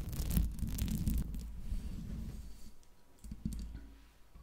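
Long acrylic nails tap and scratch the hollow metal mesh grille and body of a large silver Blue Yeti USB microphone. Quick, uneven taps land as deep, boomy thumps with bright clicks and scratchy rasps on top. The sound is busiest at the start and gradually grows quieter.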